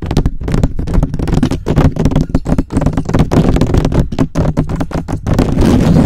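Fingertips and short nails rapidly scratch and tap the hollow, rounded, perforated metal mesh head of a black USB microphone. The result is a dense, continuous stream of close, boomy scratches and quick taps, heavy in the low end with almost no bright top.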